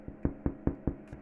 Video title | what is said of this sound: Sourdough Sandwich Loaf Fourth Attempt | got a nice crust on it ... sounds hollow